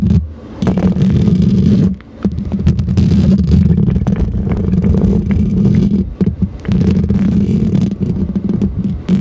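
Long green plastic fake claw nails on the fingertips scratch and tap the hollow metal mesh grille of a silver Blue Yeti-style condenser microphone. The result is a dense, continuous, low-heavy rasping rumble with quick tapping clicks layered through it, briefly dropping away near two seconds and again around six seconds.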